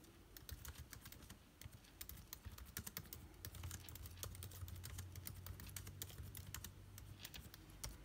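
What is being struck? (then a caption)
Laptop keyboard with plastic keys and aluminium body. Fingertips type quickly on the plastic keycaps of an aluminium-bodied laptop keyboard, producing a dense run of short, bright clicks and taps. A steady low hum sits underneath the keystrokes through the middle of the clip.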